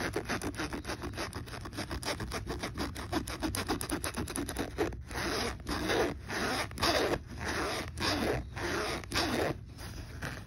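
A hand rapidly zips the slider of a black fabric backpack pocket zipper up and down, making a fast, rasping zipper sound. The first half is a quick run of short, tightly packed strokes. The second half is slower, with longer, brighter drawn-out zips separated by brief pauses.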